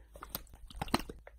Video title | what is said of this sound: is here bendy and boris open the ink machine toys super right yes enjoy | We got slimes! I can hear them!